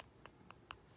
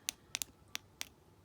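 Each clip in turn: First: dip powder nail with unset activator. Second: dip powder nail coating, activator set.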